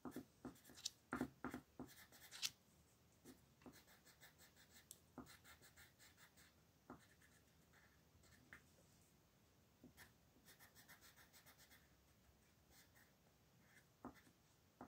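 A green wooden colored pencil tip rubs across a thin paper coloring sheet lying flat on a desk in small coloring strokes. A few sharper, louder scratches come early, then settle into quiet, bright, irregular scratching that continues to the end.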